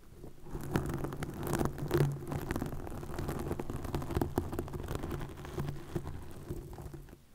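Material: Plastic.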